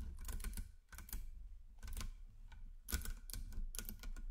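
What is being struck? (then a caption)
Nickel-plated magnet cubes and spheres. A chain of solid 10mm nickel-plated magnet cubes and spheres is guided by fingers down a magnet ring, and the pieces snap together metal on metal. Quick, bright clicks come in loose bursts over a low steady hum, each one dying away almost at once.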